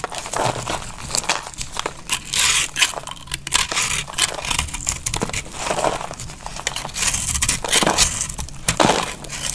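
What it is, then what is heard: Dry soap bar being cut. A palm-sized, hand-held chunk of dry, crumbly, solid brown soap is shaved and cut with a metal utility knife blade by a hand with long painted nails. Bright, dry scraping and crunching crackles come in repeated bursts as the blade works through the soap, with crumbling and crinkling textures between the louder cuts.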